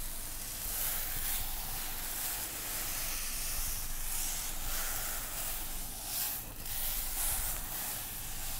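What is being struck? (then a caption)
Container of dry couscous. A container filled with dry couscous is shaken, giving a steady, sand-like hissing rustle that swells and dips without distinct separate hits.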